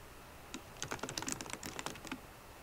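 Fingertips and long nails type on a MacBook Pro laptop keyboard with plastic keycaps in an aluminum body, giving a quick run of bright, crisp clicky taps that start about half a second in. The short taps cluster between about 0.8 and 1.9 seconds and end with a last tap near 2.1 seconds, leaving only a quiet background hiss.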